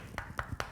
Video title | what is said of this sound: FUGOO Bluetooth Speaker & Accessories Full Review - Best Bang For Your Buck! | it's not Hollow like other Bluetooth speakers